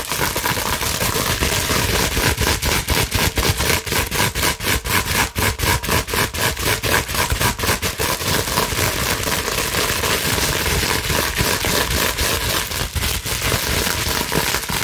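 Long nails scratch rapidly over the bubbled surface of a clear plastic bubble wrap sheet, with some scrunching, making a steady, dense, bright crackling and rustling noise. The scratching pulses in quick, fairly regular strokes at about four per second with no pauses across the clip.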